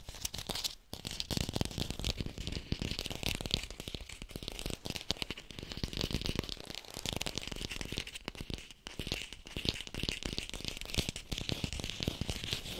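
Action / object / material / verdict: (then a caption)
tap / artificial plastic apple / plastic / fake. An artificial red plastic apple is fast-tapped close to a hi-fi microphone. The rapid, dense taps give a crisp, crinkly clatter with a hollow low thump and bright, clicky highs. Each tap dies away instantly, with only brief gaps in the steady stream.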